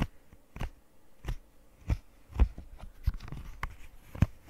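Long nails scratch and tap the bubbles of a rainbow square silicone pop-it fidget toy, making soft, dull low thuds with faint bright scratchy edges. The taps come at an uneven pace over a quiet scraping bed, and each one dies away almost instantly.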